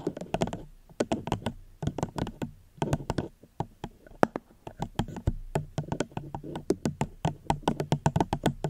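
Gentle fingertip tapping on a plastic cup held close to the microphone. A steady run of quick, dry, hollow taps with a soft low thump and almost no ring, broken by a few brief pauses.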